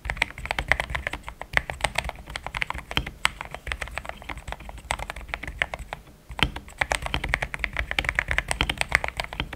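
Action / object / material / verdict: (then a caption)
tap / mechanical keyboard with plastic keycaps / plastic / none. Fingertips type in steady taps on a pink-framed compact mechanical keyboard with thick cream XDA plastic keycaps, linear switches, a polycarbonate plate and a hollow case. Dense, fast clicks with a bright, clacky peak around 2 kHz and a soft low thump run throughout, with a brief pause near the six-second mark before typing resumes.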